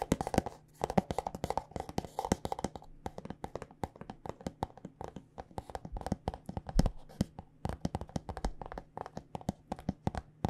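Long nails tap quickly on a white plastic body butter squeeze tube filled with lotion. The result is a fast, uneven stream of short, dry clicks and ticks with almost no ring, sometimes bunched into rapid flurries and sometimes spaced out, over a faint steady low hum.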